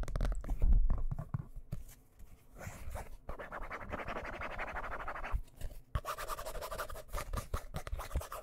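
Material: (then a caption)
Cardboard. Fingertips and nails quickly tap and scratch the cover of a solid, medium hardcover book with a dark blue cover held up close to the microphone. Dull, bassy thumps open the clip, then give way to a steady, dry scratching rasp that pauses briefly and resumes brighter and busier, with quick taps mixed in.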